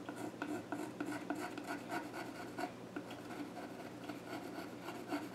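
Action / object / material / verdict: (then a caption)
scrape / wooden stool top scratched with a graphite pencil / wood / none. A graphite pencil held in the hand scratches sketch lines across the flat top of a solid, dark-stained wooden child's stool. The strokes make a quiet, dry, raspy rubbing, with bursts of scratching in quick succession over a soft, steady background.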